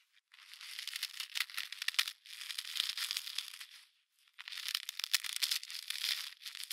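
A solid, fist-sized block of packed snow is held between two padded winter mittens outdoors and squeezed and crushed by hand, with the glove fabric possibly audible too. The result is three bursts of dense, bright crunching and crackling, with brief pauses after about two seconds and again just past four seconds.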